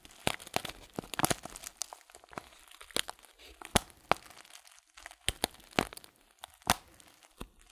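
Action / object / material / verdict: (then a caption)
scrape / paper tea packet with loose leaves / paper / none. Fingertips squeeze and crinkle a filled paper tea bag, a loose-leaf packet with a folded top. Sharp, dry crackles and crunchy snaps come in irregular bursts over a quiet background, bright and papery with little low end. Each crackle stops at once with no ring.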